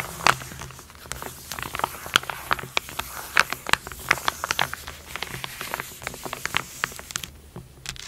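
Long gold and blue nails quickly scratch and tap across a sealed foil-laminate burn dressing pouch lying flat on a black surface. The result is a rapid, uneven stream of sharp, bright crinkling ticks and taps with no ring, over a faint low background hum.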